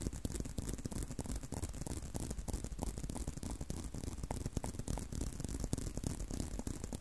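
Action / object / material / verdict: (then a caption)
scrape / leather belt strap / leather / none. Fingertips and short nails scratch and tap along a tan-brown leather belt strap held out in front. The result is a steady, dense run of quick dry scratches and soft taps, mostly low muffled thuds with a bright, hissy scrape on top.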